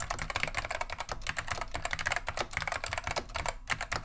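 A beige plastic vintage Wang 725 mechanical keyboard with Alps switches is typed on continuously with the fingertips of both hands. The result is a rapid, dense stream of short, sharp clicky keystrokes with bright upper tones over a soft low body, each dying away almost at once.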